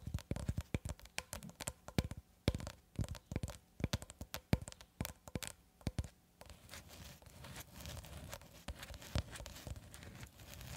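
A long roll of clear plastic cling film, held horizontally and tilted slightly at one end, is tapped and scratched with long red acrylic nails. For the first six seconds, quick sharp taps click against the film. After that the sound shifts to a denser, continuous crinkly scratching across the plastic.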